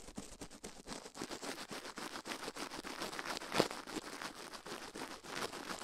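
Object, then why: Silicone ear on a binaural microphone, brushed with toothbrush bristles. Toothbrush bristles brush and scratch a soft silicone ear on the metal mic plate of a binaural microphone, touching only the right ear while the left stays untouched. The result is fast, dense, bristly scratching with a bright hiss and many quick strokes, peaking in one sharper scrape midway.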